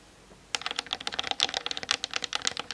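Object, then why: Plastic camera body and lens. Long nails tap fast on the top plate and lens barrel of a hollow plastic Canon DSLR camera on a tripod, seen in a mirror. After a brief quiet moment, a rapid stream of short, dry, clicky taps begins, bright and high with almost no low end. The taps stop quickly with no ring.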